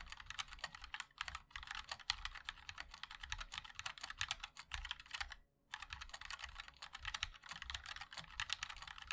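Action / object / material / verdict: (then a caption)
tap / mechanical keyboard with plastic keycaps / plastic / none. Fingertips of both hands type continuously on a compact 60% MOD-L mechanical keyboard with a black case, white and black plastic keycaps and linear switches. A dense stream of short, bright, clacky keystrokes runs throughout, with a brief pause about halfway through before the typing resumes.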